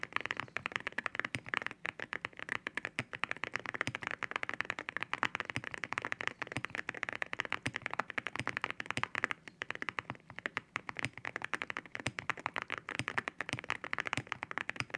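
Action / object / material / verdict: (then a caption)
tap / mechanical keyboard with ceramic keycaps / ceramic / none. A white 65% mechanical keyboard with white ceramic keycaps, with spare keycaps on the desk beside it, is typed on with both hands' fingertips. A fast, steady stream of short, bright, clacky keystrokes rings high with almost no low end and dies away instantly.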